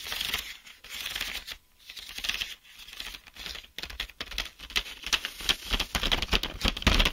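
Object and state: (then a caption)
Plastic blister pack of mechanical pencils. Fingertips and short nails tap and scratch along a sealed, clear plastic blister pack of mechanical pencils on a cardboard backing, held in both hands. Bright, crinkly clicks and scratchy rubs come in an irregular, quick patter over a faint low rumble, with a brief quiet gap early on. The tapping then grows denser and louder toward the end.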